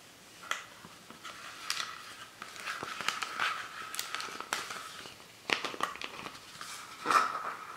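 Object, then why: Thin plastic soda bottle. Fingers and nails scratch and squeeze the thin plastic of a hollow, empty, clear Fanta PET soda bottle with a plastic label and a white cap. The result is a quiet, steady crinkling and scratching, with bright crackles and a few sharper crunches. A thin tone rings around 1.3 kHz, and there is no low end.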